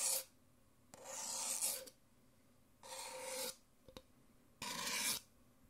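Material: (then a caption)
Paper. A thin white stirrer stick scrapes the inside of an empty, thin-walled, white printed Nespresso paper coffee cup, alternating with fingernails scratching and tapping its outside wall. Four bright, raspy scrapes of about half a second to a second each are broken by two quick, light taps, all with a hollow papery tone.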